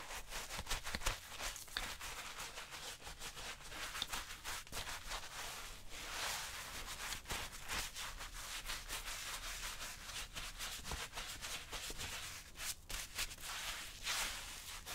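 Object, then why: Suede leather boot. A round bristle brush scrubs a wet tan suede leather tactical boot while it is worn on the foot, the other hand steadying the boot. Continuous bright, hissing scratchy brushing is heard, with sharp short strokes breaking through a steady rubbing texture and a faint low rumble underneath.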